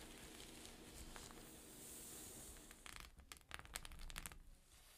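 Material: Plastic sequins.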